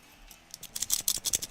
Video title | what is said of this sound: X-Ray Specs inside the Crazy Digger Machine! | it rattles it's a rattler